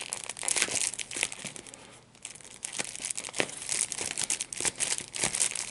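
A small piece of clear plastic wrap with large, hollow, air-filled bubbles is squeezed and popped between the fingertips and thumbs of both hands. Sharp, bright pops come in irregular bursts over a steady crinkling rustle, with a brief lull near the two-second mark.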